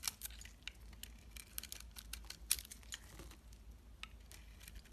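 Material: Soap.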